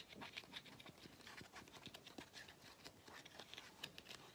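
Fingernails tap and scratch the black rubber/plastic end cap of a small hollow vacuum cleaner filter held close to the camera. The result is a quiet, steady stream of quick, light, dry clicks and scrapes that is mostly high and bright, with each tap dying away almost at once.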